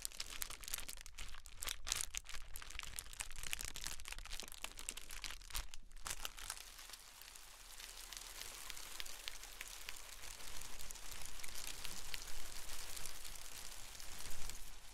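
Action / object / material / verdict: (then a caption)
shake / metallic foil pom poms / metallic foil / none. Blue and gold metallic foil pom poms are held up near the face and shaken and crinkled with the hands. They give a dense, continuous bright rustling and crinkling with many sharp crackles that briefly dip in the middle before swelling louder toward the end.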